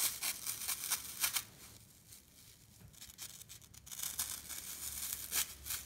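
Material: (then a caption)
Floral foam. A fingertip with a long nail pokes and scratches the side face of a solid, rectangular block of dry green floral foam held in the hand, leaving dents. Crisp, bright crunching and scratching comes in irregular bursts, louder at the start and end with a quieter stretch in the middle.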